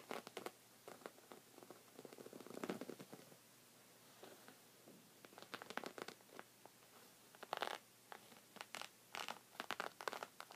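Short red fingernails scratch a thick, cream, textured woven rug of soft fabric. Quiet, dry scratching comes in irregular bursts of fast, bright rasps with brief pauses between them. The fabric gives each stroke a soft, fuzzy rustle around 1 kHz.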